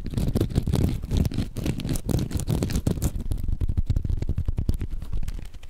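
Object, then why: Hand-sized foam sponge. A hand-sized yellow foam sponge is repeatedly squeezed and scratched with the fingertips next to the microphone. It makes a dense, continuous stream of soft, rustling crackles with a heavy low, muffled rumble and brief bright scratchy flecks.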